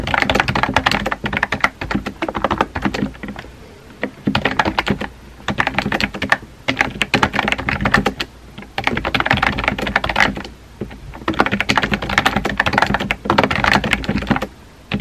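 Fingertips type on a compact pink plastic keyboard with round white keycaps, making rapid, clacky key taps in bursts separated by short pauses. The taps are dry and short, with no lingering ring.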